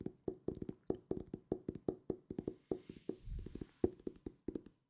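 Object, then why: Hardcover book with paper-covered boards. A solid purple hardcover book with a paper-covered board cover is held in both hands and tapped with fingertips and nails. A quick, uneven series of short, dry, hollow knocks centered around 355 Hz die away almost instantly. A brief soft, breathy rustle with a low rumble passes partway through.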